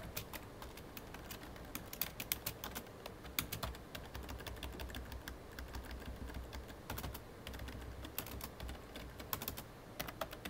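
Both hands type rapidly with their fingertips on a full-size black plastic computer keyboard. Dense, fast clicks and taps sound for the whole clip. Each key hit is short and bright, over a steady low hum.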